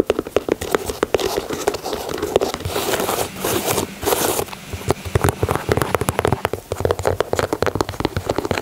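Fingernails tap and scratch the leather toe and side of a white leather Air Jordan 4 sneaker. Rapid, dry clicking taps run throughout, broken around the middle by brighter, hissy scratching strokes. Each tap dies away almost instantly.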